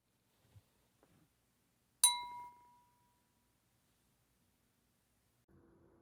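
A drinking glass with a little water poured into it is lightly tapped once, giving a clear, high-pitched ringing note that fades over about a second. A few faint soft sounds come before the tap, and a low quiet rumble comes at the end.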